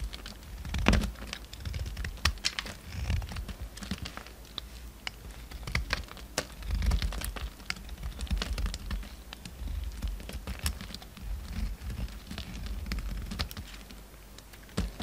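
A solid pale orange bar of soap, held in the hand, is carved with a steel utility knife blade, and chunks and shavings fall onto the table. A steady run of short, crisp cutting clicks and scrapes plays over soft low thumps, with brief bright ticks scattered throughout.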